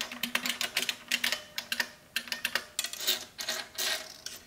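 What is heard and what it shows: Fingertips with long painted nails type rapidly on a large, hollow-cased vintage beige plastic mechanical keyboard (Model F style), with a row of small shells resting untouched on its front ledge. The keystrokes land as a quick run of sharp, bright, clacky clicks that stop almost instantly, with little low end.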